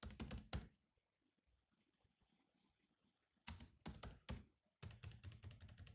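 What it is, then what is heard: Laptop keyboard with plastic keys. Both hands tap with their fingertips on the black plastic keys of a grey laptop keyboard, producing quick, thunky clicks with bright ticking edges. A burst of typing gives way to a quiet pause of about three seconds before the typing resumes in a steady run of key taps.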